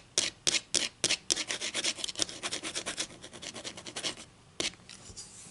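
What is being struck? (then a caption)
Wooden ruler tapped and scratched with fingernails. Long nails tap and scratch a solid wooden ruler, first held and then lying on a table. A few sharp, dry, bright taps open the clip, followed by a quick run of raspy scratching strokes, another sharp tap, and softer scratching. The sound is crisp and high-pitched with almost no low end.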